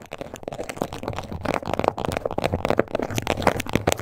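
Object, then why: Embossed leather wallet scratched with fingernails. Long acrylic nails with black tips scratch and tap across the raised scales of a small, flat pink crocodile-embossed leather wallet or card holder (possibly faux) with stitched edges, lying on a table. A dense run of dry, crackly scratches mixed with short soft taps is heard, mostly in the low-mid range with little brightness. Each sound is brief and dies away almost at once.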